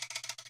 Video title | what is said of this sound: Public Speaking EGSC Skateboard | you hear how I can shake it